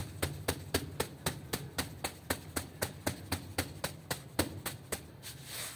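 A small, light-colored woven rug, soapy and lying on a terrazzo floor, is scrubbed with a long-handled broom with green plastic bristles. About 20 quick, steady strokes land roughly four times a second, each a short, bright, wet swish over a low rumble. The clip ends in a softer, hissing sweep.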